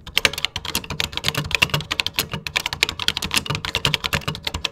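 Fingertips type steadily on a vintage 1980s plastic computer keyboard with cream plastic keycaps. The result is a rapid, continuous run of bright, short clacks, each dying away almost at once, over a soft low thud from the keys bottoming out.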